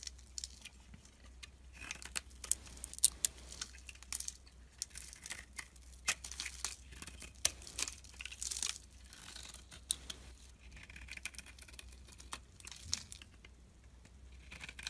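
A utility blade shaves and carves a solid white and purple soap bar held in the hand, cutting it into flakes. Quiet, bright, crisp scraping and crumbly crunching come in quick irregular strokes over a faint steady low hum.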